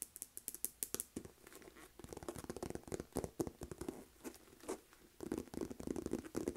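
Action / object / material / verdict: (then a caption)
scrape / faux leather handbag / faux leather / none. Long nails tap and scratch the front panel of a medium, hollow, pale pink textured faux leather Aldo flap shoulder purse. Quick, crisp taps with a soft hollow body give way to stretches of dense, rustling scratching, then return in rapid bursts. The taps are short and dry, with bright clicky tops.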